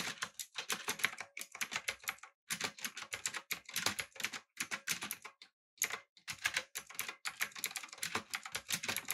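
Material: Plastic.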